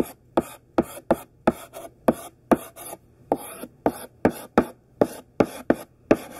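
A thick stick of pink sidewalk chalk, held in the hand, writes words across a large flat black chalkboard. Short, dry, scratchy strokes tap and rasp against the surface with quick, bright grit and almost no ring. About fourteen distinct strokes are heard, each followed by a brief scrape.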